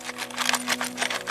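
A sealed metal WW2 canister found on a battlefield is shaken, giving a quick series of bright, clicking rattles as the contents move around inside. Opened with a knife, it holds several items, including a piece of cork.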